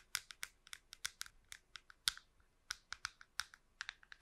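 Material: Plastic.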